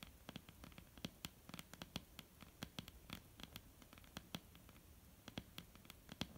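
Long almond-shaped painted nails tap and scratch across a flat, solid wooden tabletop. A quiet, rapid, irregular stream of short, dry clicks, with bright tops and a low knock, is layered over a soft scratching rustle. Each tap dies away almost instantly.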